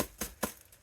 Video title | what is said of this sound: Wrapping and packing. she is one of the best at this. (I think). #diy #tutorial #reseller | if you knock on it and you can hear that, then that means it's not sufficiently protected there